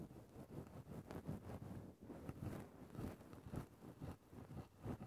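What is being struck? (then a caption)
Synthetic fur microphone windscreen. A wooden stick held in the fingertips scratches and pokes into a grey synthetic faux-fur microphone windscreen. The result is a soft, continuous low rustling and scraping with irregular swells and brief dips, and no clear high end.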